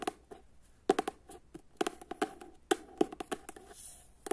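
Long fingernails tap and scratch the cover of a paperback book held up close, giving about sixteen short, dry taps in irregular clusters. Each tap has a hollow low-mid body with a bright clicky edge and almost no ring. Soft scratching fills the gaps between taps.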